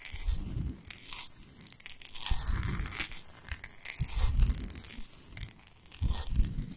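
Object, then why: Salt block. Long pointed nails scratch fast across the surface of a large, flat, solid pink Himalayan salt block. The sound comes in rough, crunchy bursts that pair a low rumble with a bright, gritty hiss, swelling and fading in waves over about seven seconds.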